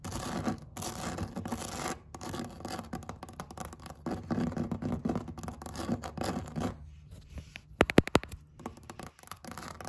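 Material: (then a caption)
Vinyl. Long red acrylic nails scratch and tap across the textured weave of a flat woven vinyl placemat. A dense, continuous rasping scratch with brief gaps gives way near the end to a short run of sharper, louder taps before the scratching resumes.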